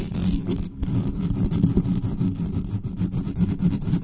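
Long nails rapidly scratch the metal mesh grille of a black studio microphone. The result is a dense, continuous, muffled scraping with a heavy low-end rumble and fast, uneven strokes, with almost no bright content.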